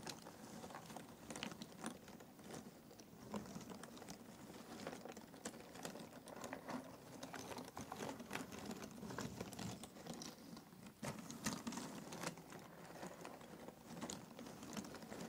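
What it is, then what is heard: Cardboard jigsaw puzzle pieces being stirred. Fingers grab and stir a pile of thin cardboard jigsaw puzzle pieces in an open box. The result is a steady, quiet, dense rustle of small dry clicks and scrapes, with a warm low-mid body and bright crisp ticks, occasionally swelling into louder handfuls.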